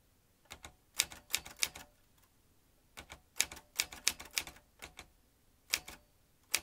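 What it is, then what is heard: Metal manual typewriter being typed on. A vintage metal manual typewriter with round keys and typebars is typed on fast with the fingertips, giving about 18 sharp, bright clacks in quick bursts separated by short pauses. Each strike is crisp and dry with almost no low end and stops instantly without ringing.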